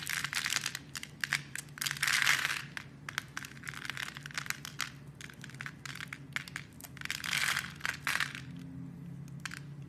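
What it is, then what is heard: Bar soap being carved. A metal blade scrapes and carves a solid rectangular orange-and-cream striped bar of soap held in a hand, cutting it into crumbly shavings. Dense, bright, crackly scraping and crunching comes in quick bursts, with louder swells near the start and again later, over a faint low background hum.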